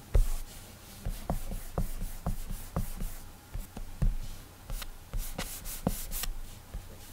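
Fingertips rub airbrush strokes back and forth across the glass touchscreen of an iPad. The result is a series of soft, dull taps with faint, bright swishing rubs between them, over a quiet, low background hum.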